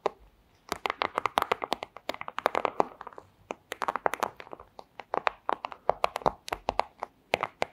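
A flat, thin clear plastic pouch is tapped rapidly with long square acrylic nails, producing a dense stream of sharp, dry clicks with a crinkly midrange body and bright edges. The taps come in irregular bursts after a brief quiet start, each dying away almost instantly.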